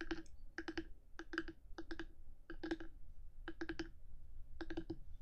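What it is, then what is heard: Binaural microphone housing, hard plastic. One hand with long nails taps and scratches the top of a black, hard-housed 3Dio binaural microphone. Quick clusters of sharp nail clicks with a hollow ring near 320 Hz and bright upper ticks repeat in short bursts over a steady low rumble.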